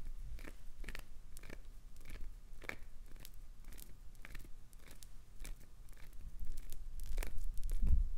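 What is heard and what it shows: Long acrylic nails repeatedly dig into and scrape a chunk of solid, translucent green glycerin soap, breaking off crunchy flakes. Short, crisp, bright scratching crunches come at an irregular pace over a low background rumble. The scraping grows louder and denser toward the end.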